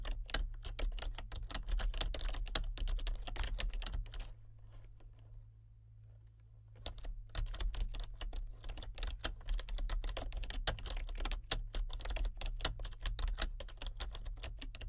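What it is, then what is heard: Plastic computer keyboard being typed on. Both hands with painted nails type with their fingertips on a full-size plastic keyboard with color-changing backlit keys, producing rapid, irregular clicky key presses. The typing pauses for about two seconds near the middle, then resumes at the same pace over a steady low hum.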